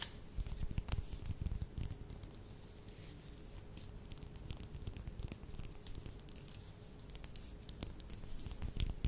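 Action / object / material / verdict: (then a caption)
scrape / mandarin orange peel / fruit peel / none. Long nails scratch and tap the peel of a whole, solid mandarin orange held in both hands. Quiet, low, dense rustling scratches are broken by sharp, bright little clicks, with a faint steady tone underneath. The sound is a bit louder at the start and the end.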